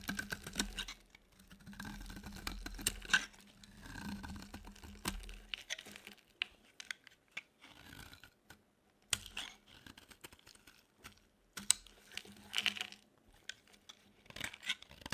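A metal utility blade scrapes and shaves the edges of a solid, dry, white rectangular bar of soap held in the palm. The result is a run of crisp, bright, crumbly scratching strokes with brief quiet pauses between bursts, over a faint low steady hum.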